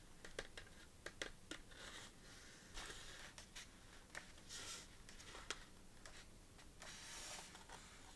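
Fingertips and long nails lift, flip and scratch the pages of an open lined paper notebook with a sequin cover, lying flat on a table. Soft, crisp nail taps and ticks are heard between brief, bright swishes of rustling paper, all at a quiet level.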